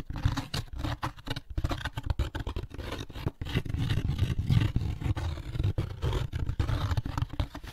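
Fingertips and nails scratch the rough inside of the lid of an opened, empty molded paper pulp egg carton. The sound is a dense, continuous run of short, dry scraping strokes with a heavy low, rumbling body and little brightness.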